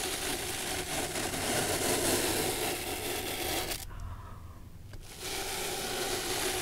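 A bristle brush sweeps across an antique studded leather shoe sole with a metal heel plate, held up by hand. A steady, bright, dry brushing scrape runs for almost four seconds, drops to a quiet hush for about a second, then picks up again.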